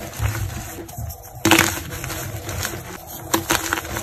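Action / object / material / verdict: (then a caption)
scrape / block of gym chalk (magnesium carbonate) / magnesium carbonate / none. Fingertips with painted nails squeeze small, solid white blocks of gym chalk (magnesium carbonate), held in both hands over a bed of chalk powder, with no wrapper or glitter visible. The blocks snap and crumble into chunks with dry, bright crackles. A sharp break comes about midway and two more near the end, with softer gritty crunching in between.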